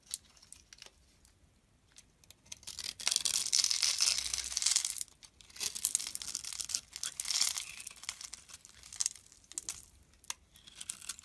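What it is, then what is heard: Bar soap being carved. A metal utility blade carves curls and chips from a solid, palm-sized green-and-white striped bar of soap held in the hand. The result is dry, crisp scraping and shaving with a bright, hissy texture, broken by short ticks. The sound swells into longer, louder carving strokes about a third of the way in and again toward the end.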